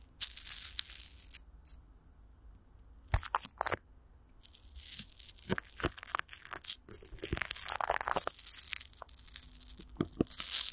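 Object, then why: Clear plastic film over a microphone grille. Clear plastic film with Vaseline is stretched over a hollow microphone grille while long nails scratch and fingers crinkle the film on top. The result is close, bright crinkling and sharp crackling bursts with scratchy tearing-like rasps, separated by brief quiet pauses.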